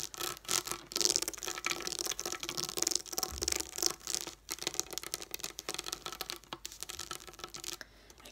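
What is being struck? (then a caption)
Plastic dome dot stickers scratched and tapped with fingernails. Long nails scratch and tap across a flat sheet of raised plastic dome dot stickers lying on a wooden table. A steady stream of bright, crisp scratching and quick clicky taps, mostly high with almost no low end, each sound dying off almost instantly.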